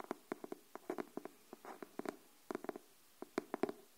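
Long nails tap quickly on the cover of a pink cardboard hardcover paper notebook held upright, giving about eighteen short, dry, hollow knocks in uneven bursts, with a brief soft scrape in between. The taps are quiet, centered in a low-mid tone near 390 Hz, and stop dead with no ring.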